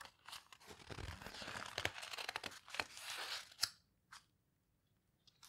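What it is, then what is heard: Heavy paper book pages being turned and squeezed. Fingertips with long nails turn and squeeze the heavy paper pages near the edge of a large open photo book, the paper houseboat book. A dense, bright, crunchy crinkling rustles for about three and a half seconds, ending in a sharp crackle, then fades to near silence broken by a few soft paper ticks.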